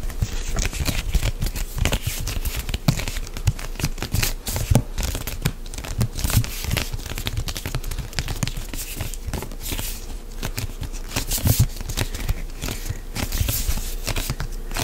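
A medium white plastic CeraVe lotion pump bottle, hollow and apparently filled, is gripped and rubbed close up by both hands with fingertips and nails. The result is a steady stream of dry crinkling, scratching and tearing-like rasps, with bright edges over dull low thumps and squeezes from the plastic body. The sounds are short with almost no ring, overlapping continuously for the whole clip.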